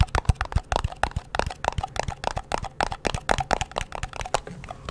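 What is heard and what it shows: Fingertips and nails rapidly tap and scratch the lid and sides of a small, round, hollow blue metal Nivea cream tin held in both hands. The result is a fast stream of short, dry clicks with a faint metallic ping around 700 Hz to 1 kHz. Scratchy rustle fills the gaps between the taps.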